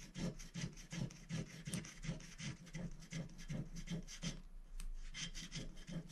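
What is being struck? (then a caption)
Scratch-art coated paper sheet on glass, scratched with a wooden stylus. A thin, flat scratch-art sticker sheet (black coated paper over a rainbow foil layer) lying on a glass plate is scratched continuously with the tip of a wooden stylus held in the fingers. The result is a steady run of short, dry, rasping strokes in a loose back-and-forth rhythm, with a low body and bright, gritty scratch texture on each pass.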